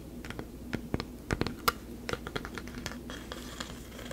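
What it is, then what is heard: Carved wooden face plaque. Long nails and fingertips tap and scratch a medium-sized, solid carved wooden face plaque with a textured, bark-like surface. Sharp, dry woody clicks with almost no ring are scattered over a soft, scratchy rustle. A steady low hum runs underneath throughout.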